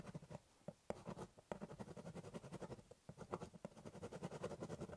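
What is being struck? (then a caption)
Corrugated cardboard box. A ballpoint pen tip scratches short strokes onto the top surface of a large, hollow corrugated cardboard shipping box while drawing. Quiet, dry scratching strokes come in quick uneven bursts with a hollow, low papery thump beneath, separated by brief pauses. Each stroke stops dead with no ring.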